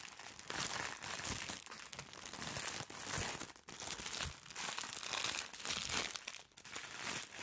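A soft package sealed in thin plastic film is held close to the microphone and crinkled and scratched with long nails. The result is a steady, bright crackling and rustling with very little low end, swelling and easing in waves with brief lulls partway through.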